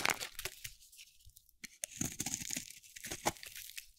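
A metal utility blade carves slices off a solid, pale yellow-white bar of dry soap held in the hand. Bright, dry scraping and crunchy crackling come in quick bursts as the blade bites and shaves through the soap, with short pauses between strokes.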